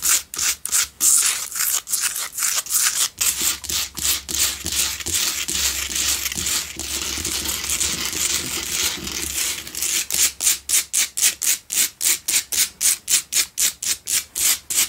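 Long nails scratch the top edge and front of a Himalayan salt double candle holder, a solid pink salt block with two tealight holes. Bright, gritty scratching comes in quick, separate strokes at the start and end, with a steady, continuous scrape through the middle.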